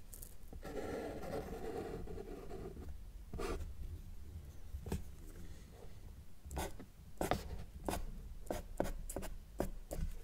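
A felt-tip marker draws across a flat sheet of thin, solid white drawing paper while fingertips hold the sheet steady. A longer, low, soft rubbing stroke opens the clip, followed by a series of short, crisp scratchy dashes and lines as the tip rubs the paper.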